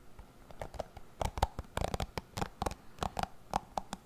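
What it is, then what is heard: Plastic cushion hairbrush. Fingertips scratch and flick across the dense bristles of a hand-sized, dark plastic paddle cushion hairbrush held close beside a foam-covered microphone. The result is an uneven run of short, dry ticks and scratchy flicks, each with a soft low thump and a muted mid-toned snap that dies away almost at once. The whole clip stays quiet and close.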